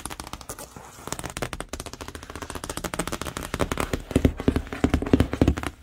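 Long acrylic nails and fingertips tap fast on the flat side of a large, hollow, printed corrugated cardboard TV box. The result is a rapid, uneven patter of short, dull, hollow knocks with a low resonant body and light clicky edges, each dying away almost at once. The tapping grows gradually louder and heavier toward the end.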